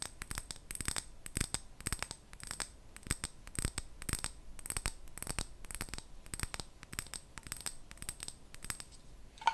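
Fingernails tap and scratch on a glass jar, making a dense run of quick, bright clinking taps that sound like dropping coins, mixed with soft scraping. The taps are short and dry with almost no ring, and a louder final tap gives a brief tonal ping near 900 Hz.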